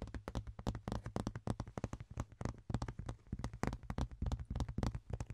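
A large, thin, ribbed rectangular clear plastic box lid is held and tapped and scratched with fingertips and nails. About three dozen quick, closely spaced taps land in an irregular stream, each a soft, dull knock with a low hollow body tone and almost no ring.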